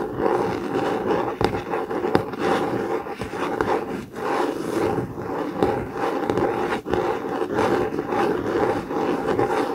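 A blue COMIX hardcover notebook with a laminated cardboard cover lies flat while its cover is scratched and tapped with fingertips and nails. The result is a steady, dense, raspy scratching concentrated in the low midrange, broken by brief sharp taps and short dips in loudness.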